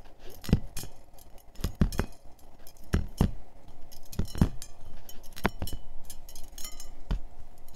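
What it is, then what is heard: Metal wire scalp massager. Fingers grip and flick the thin, springy metal wires of a handheld scalp massager with small bead tips, which lies open and hollow on a checkered tablecloth. The wires clink against each other in a busy run of short, bright, metallic ticks and jingles that die away almost at once, over a soft low rumble.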